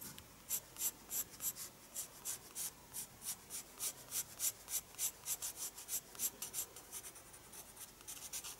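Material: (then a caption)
Paper. A pencil scratches repeated short strokes across a page of a small spiral-bound paper sketchbook resting on a wooden desk while drawing. About twenty quick, quiet scratches come at a steady rhythm, each a dry, bright rasp with almost no low end that stops instantly.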